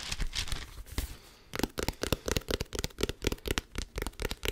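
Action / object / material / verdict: tap / small cloth-bound hardcover book with paper pages / cardboard, paper / none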